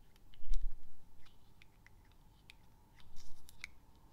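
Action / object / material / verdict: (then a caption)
tap / small glass perfume bottle with metal cap / glass / none. A small clear glass perfume bottle with a metal cap is held in the hand and tapped slowly with the fingernails. The result is soft, bright, clicky taps that come in two brief clusters over a faint low rumble, each tap dying away almost instantly.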